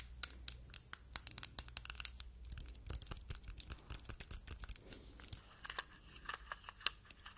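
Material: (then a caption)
Plastic. A palm-sized, glossy red, hollow hard-plastic cosmetic jar shaped like a tomato, with a green stem on the lid, is held in the hands and tapped and scratched with long nails. Sharp, bright clicks mix with dry scratching, and each tap dies away almost at once over a faint low hum.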